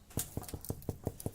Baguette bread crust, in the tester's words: the hollow sound that you want to hear